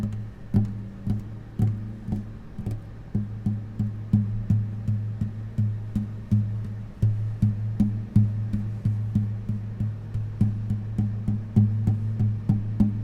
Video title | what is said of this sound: INSTRUMENT ASMR! (Guitar+Uke Tapping) ASMR for Relaxation | the echoing and the vibration of the guitar